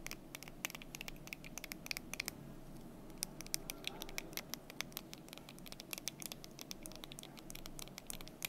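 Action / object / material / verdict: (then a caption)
tap / small painted wooden block desk calendar / wood / none. Long nails tap and scratch the front of the solid cubes on a small painted wooden block desk calendar, held close in its stand. Quick, dry, bright clicks scatter over a soft, steady scratchy rasp, with each tap dying away at once and no ring.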